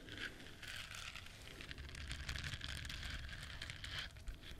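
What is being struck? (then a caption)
Duck-shaped silicone bristle scrubber. Long nails scratch across the soft bristles of a hand-sized, yellow, duck-shaped silicone scrubber, solid and flexible, held in both hands. The result is a steady, dense crackling rasp with a bright, crinkly edge over a low rumble, lasting the whole clip without clear breaks.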